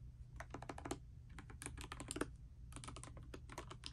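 A pastel mechanical keyboard with plastic keycaps, resting on a bedspread, is typed on continuously with fingertips and long nails. Quick, dry clicks and clacks come in uneven bursts with brief pauses between runs, over a steady low hum.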